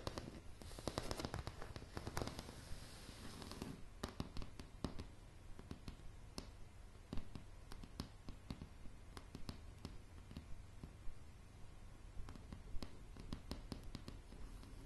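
Long, dark, polished nails tap on solid light pine floorboards, making sharp, dry clicks. The first few seconds are a dense, scratchy flurry; after that come scattered, irregular taps over a steady low rumble.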